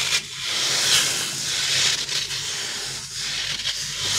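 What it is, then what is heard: Rubber stretchy crocodile toy. A green soft rubber crocodile stress toy, solid or gel-filled, is pulled long and rubbed between fingers and thumbs. It gives a continuous bright, hissing friction sound that swells and dips in uneven waves, with almost no low end.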